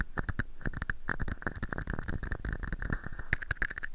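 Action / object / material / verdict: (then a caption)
tap / small plastic cup / plastic / none. A small, hollow, empty red-and-white plastic cup sits upside down over a microphone and is tapped and scratched with fingertips and nails. Rapid, dense taps and scrapes produce boomy low thumps with very short decay, plus a steady hollow tone around 1.7 kHz and brief bright clicks.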